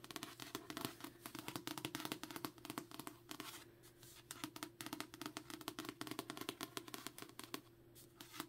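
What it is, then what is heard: Paperback book cover. Long nails tap and trace across the glossy card cover of a solid *Assassin's Apprentice* paperback held in the hand. The result is a dense run of quick, crisp clicks mixed with light scratchy strokes. The level is quiet and close throughout, with a faint steady low tone underneath.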